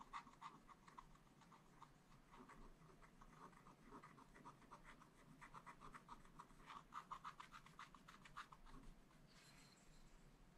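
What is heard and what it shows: A wooden stylus scratches the fill of a biscuit and mug drawing into a black coated scratch art paper page. Quick, uneven scratchy strokes repeat in a steady stream, with bright rasping bursts centered near 1 kHz over a soft low rumble. The strokes fade out near the end, leaving only a faint high tone.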